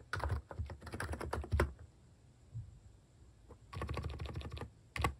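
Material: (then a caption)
Plastic. A plastic mechanical keyboard with cat-face keycaps is typed on quickly, giving bursts of dense, clacky key taps with deep thuddy low ends. The taps cluster in two fast runs separated by a near-silent pause, ending with a final few keystrokes.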